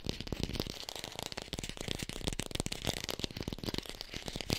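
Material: Plastic.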